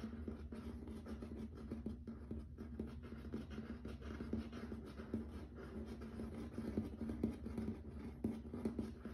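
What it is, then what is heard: Laminate floor, tapped and scratched. Fingertips and nails tap and scratch across a grey wood-grain plank wood-look laminate floor. The sound is a quiet, steady stream of soft, dry taps and scratchy rubbing with a low, hollow body around 220 Hz. Each tap dies away almost instantly.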